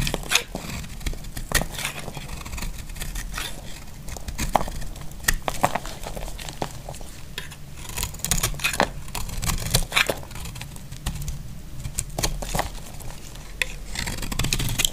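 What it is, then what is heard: Dry bar soap being carved. A solid, dry pink bar of soap held in the hand is scraped and carved with a utility knife blade, shaving off crunchy flakes. The clip is a steady stream of dry, crackly scraping with sharp, bright crunches that die away almost instantly, over a constant low rumble.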